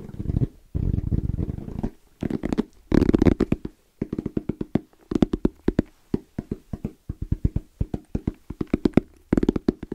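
Fingertips tap rhythmically on the flat face of a small, closed, hollow black rectangular zippered hard case with orange trim and a fabric-covered EVA shell. Fast bursts of dull, hollow, low-pitched knocks alternate with runs of distinct, separate taps, each dying away almost at once.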